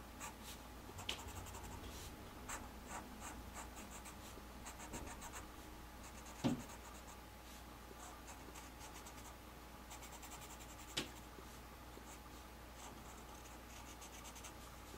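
A black Sharpie felt-tip marker held by hand draws in short strokes across a flat white paper sheet on a table, its tip scratching and rubbing against the paper. The quiet, irregular strokes make soft, bright, scratchy swishes over a steady low hum. A couple of sharper, louder marks stand out partway through.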